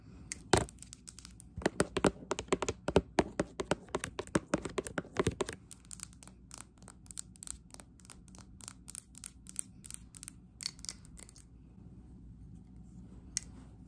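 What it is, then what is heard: Glass candle jar. A small glass jar filled with green candle wax is held in the hand and tapped with long acrylic nails on its sides and base. Fast, sharp clicking taps come in dense, louder bursts for the first half. They then thin into lighter, scattered clicks, with a pause before one last tap.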